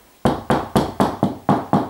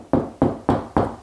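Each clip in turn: First: Eight steady knocks, short and dull around 200 Hz, as plasterboard sounds solid where a joist backs it. Second: Four even knuckle knocks on plasterboard, each a low, papery thud that booms briefly: a hollow spot between joists.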